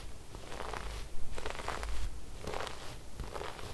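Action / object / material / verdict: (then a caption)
scrape / sequin-embroidered fabric brushed with a bristle brush / sequins / none. A wooden-backed brush with white bristles is brushed across cream fabric embroidered with silver sequin flowers. It makes soft, scratchy rustling strokes with a faint crackle, rising and falling in repeated sweeps over a low background rumble.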